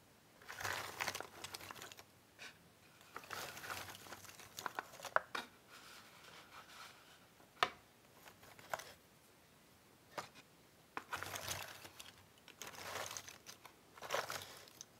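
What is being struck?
Cardboard jigsaw puzzle pieces in a box.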